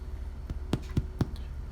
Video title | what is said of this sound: The Most Delicious, Nutritious and Easy to bake Multigrain Bread, Pizza Dough. (Save Time & Money!) | sounds hollow when you tap on on top of it